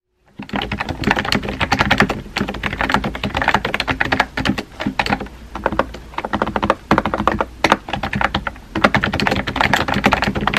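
A compact pink plastic keyboard with round white keycaps, resting on a white desk, is typed on quickly with painted-nail fingertips. Dense, crisp clicks and light thuds come in steady bursts with brief pauses, each keystroke short and dry with almost no ring.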